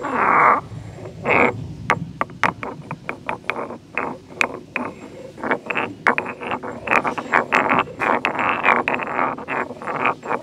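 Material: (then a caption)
Stone. A solid stone pestle, held in one hand, grinds and pounds inside a medium, heavy carved grey stone mortar with a hollow bowl resting on a tiled floor. Gritty rasping scrapes sweep through the mids into the highs, broken by many sharp, bright stone-on-stone knocks that die away almost instantly. Toward the end, the grinding and knocking quicken into a dense, continuous churn.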